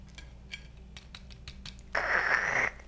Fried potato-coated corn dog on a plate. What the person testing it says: I can already hear how crispy they are